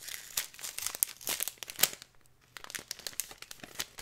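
A thin plastic packet of glitter with a cardboard header is crinkled and rubbed with fingers and nails. It makes a dense run of bright, crisp crackles and sharp little clicks with almost no low end. A brief quiet gap falls in the middle before the crinkling picks up again.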